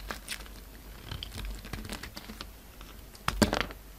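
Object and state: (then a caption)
Bar of soap being carved. A solid white bar of soap with a dark red coating, held in the fingers, is carved and shaved with a utility-knife blade. Soft, crinkly scraping and small crisp clicks run throughout, with a couple of louder, sharper cuts near the end.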